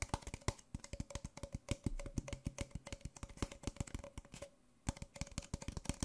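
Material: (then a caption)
Paper. An empty white disposable paper Nespresso coffee cup, small and hollow, is held upside down in one hand and tapped on its base and sides with fingertips and nails. A fast, uneven stream of dry, hollow taps and sharp nail clicks carries a low thud beneath, with a faint steady tone running through and a brief pause near the end. Each tap dies away almost instantly.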